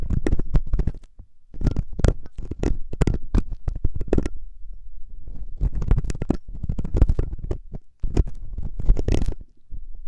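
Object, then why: Silicone ear of a binaural microphone. A thin metal wire ear pick, held by fingers with long nails, scratches and scrapes inside the ear canal of a soft, solid silicone ear on a 3Dio binaural microphone. Close, low, rumbling scrapes and quick rubbing bursts come in clustered runs with brief pauses between them.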